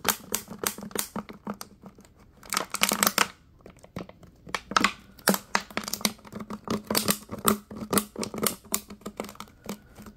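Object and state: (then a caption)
Plastic water bottle. Latex-gloved fingers crinkle and tap a clear, ridged, hollow plastic water bottle with small yellow bits inside. A rapid, uneven series of sharp, bright crackles and taps fills the clip, with brief quiet gaps between bursts.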